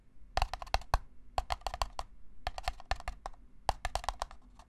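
A single small, hollow, empty red-and-white disposable paper cup is held in one hand and tapped rapidly with the fingertips and nails. About two dozen quick, dry taps come in uneven bursts with short pauses. Each is a crisp, hollow tick with a light tone near 800 Hz and bright clicky edges that die away almost instantly.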